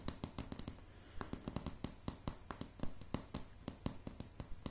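Long polished nails of both hands tap fast on solid light pine floorboards of a wooden plank floor. About two dozen short, dry clicks come in a quick, uneven patter, each with a low woody thump and a bright tick that dies away almost at once.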